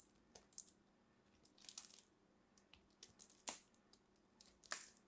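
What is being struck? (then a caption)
Soap ball scraped with a small blade. A solid green soap ball held in the fingertips is scraped and carved with a small metal blade that shaves off crumbly pieces. Soft, crisp, bright crunching and scraping come in short irregular bursts, with a few sharper cracks standing out over a quiet background.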